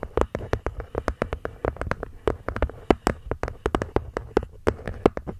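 A wooden box is gently tapped with the fingertips in a quick, irregular rhythm of many soft, short knocks. Each tap is a dry, hollow tock with a low-mid body and almost no ring, fading out at once.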